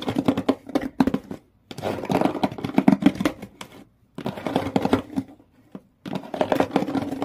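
Fingertips and long nails scratch the corrugated-textured brown cardboard floor and side walls of an empty, open shoe box. Bursts of rapid, dry scratching and tapping carry a hollow, boxy resonance, broken by short silent pauses. The bursts are mostly mid-range, with little bright content.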